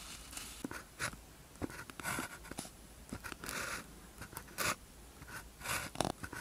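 A blue ballpoint pen tip scratches across a thin white paper practice sheet with a red grid, lying flat, while writing characters. Short, irregular bursts of dry, bright scratching and soft tapping strokes are separated by quiet pauses, with a faint steady hiss underneath.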